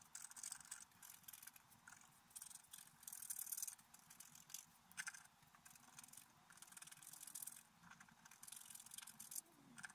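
A wooden stylus scrapes a flat, black-coated scratch-art paper card near the deer head in short scratching strokes. The result is a quiet series of bright, hissy rasps in uneven bursts with brief pauses between them, and almost no low end.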